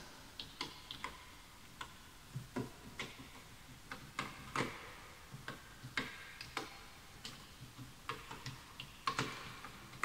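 Fingertips type on a full-size bamboo wood computer keyboard with wooden keys, while the mouse goes untouched. About twenty short, dry, bright clicks come at an uneven pace, each dying away almost instantly, over a quiet, faint background.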